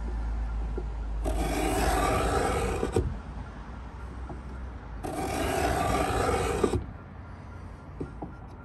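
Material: Pine wood.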